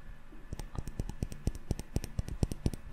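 A small glass jar candle full of solid yellow wax with a metal lid is held up and tapped quickly with fingertips and short nails on the glass body and lid. The result is a fast run of soft, dull clicks and taps with very little ring, mostly low in tone.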